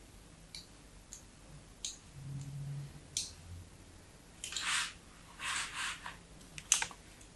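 A small metal blade scores diagonal lines into the smooth face of a solid white bar of soap held upright in a hand with long yellow nails. Short, bright scratching strokes come one after another, with a few longer, louder scrapes toward the end. A faint low hum sits beneath them in the quiet pauses.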